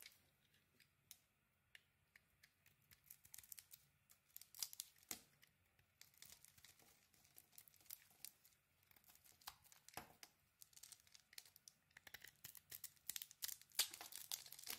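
A thin metal blade shaves and carves a hand-sized solid pink "Body Bar" soap with a white core, peeling off curls and flakes. Dozens of quiet, bright, crisp scraping and crackling strokes come in quick irregular bursts with almost no low end, growing denser and louder toward the end.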